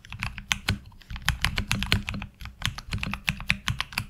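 Fingertip typing with both hands on a HyperX Alloy Origins Core tenkeyless mechanical keyboard with ABS keycaps. A quick, uneven stream of crisp, bright clacks, each with a low, thocky body, stops dead with no ring.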